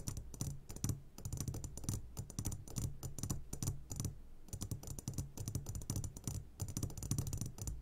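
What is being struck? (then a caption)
Glass jar filled with gummy candies. A medium glass jar, turned upside down and full of sugared gummy candies, is tapped on its sides with the short fingertips of both hands. Rapid, uneven taps produce dull low knocks with a faint ringing pitch and bright clicky edges, running in dense bursts with brief pauses.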